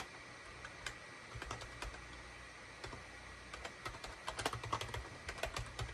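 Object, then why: Plastic computer keyboard. Fingertips of both hands type rapid key presses on a full-size SHIPADOO K600 wired USB keyboard with a gray plastic case, cream, gray and orange plastic keycaps and a hollow body, resting on a desk mat. About 21 short, bright plastic clicks and clacks ring briefly, sparse at first and then denser and louder toward the end, over a low steady hum.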